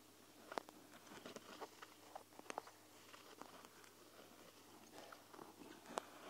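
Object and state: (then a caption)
Plastic gel-bead eye mask. Long nails scratch and tap along the bead-filled lower edge of a clear plastic gel-bead eye mask held over the recorder. Soft, crunchy scratching runs underneath a scattering of crisp, dry taps that stop almost instantly. The sound is quiet and close, with a few sharper clicks standing out.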